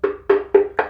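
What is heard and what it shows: Four taps on a section of ceramic splashback wall tile that is hollow behind give short, hollow, woody knocks with a ringing tone around 395 Hz. A hollow spot like this should not be drilled.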